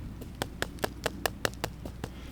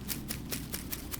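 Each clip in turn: First: empty water pipe. Second: water pipe, full of water.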